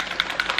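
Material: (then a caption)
Plastic. A plastic bottle of tinted physical sunscreen fluid is shaken to mix the fluid. Several rapid, bright rattling clicks sound over a steady hiss, with most energy in the mid and high range and almost nothing in the low end. Each click is short and dies away almost at once.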